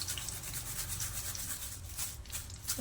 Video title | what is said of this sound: आत्ता घरीच बनवा सीक्रेट ताज्या मसाल्यातला पुण्याचा फेमस लक्ष्मीनारायण चिवडा l अजिबात नरम पडणार नाही | असा खुळखुळ आवाज आला पाहिजे